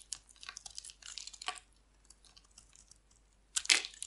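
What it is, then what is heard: Dry bar soap being shaved. A hand-sized, solid oval bar of dry green soap is held in the hand and shaved with a metal utility blade, peeling off long curling flakes. A series of bright, dry, crunchy scraping strokes crackles in quick bursts with quieter gaps between them. A louder, longer rasping cut comes at the end.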